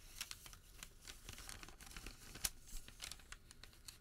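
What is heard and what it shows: A printed white thermal paper receipt is unfolded, flexed and folded by fingers. Soft, dry crinkling and papery rustling run throughout, with irregular sharp, bright crackles and one louder snap midway. The sound stays quiet and close.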